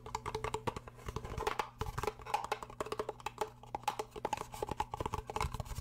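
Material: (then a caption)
Cardboard. A small, hollow, rigid pink cardboard gift box is held in one hand while the other hand taps and scratches its sides with long painted nails. Quick, dry, hollow knocks with a short mid-pitched ring come in a fast, uneven patter, mixed with light scratching and a faint steady low hum underneath.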